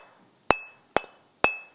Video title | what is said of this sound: ToolMania 250 mm Variabele Universele Gereedschap slijpmachine | this sounds like a solid stone so this stone is good and ready to be used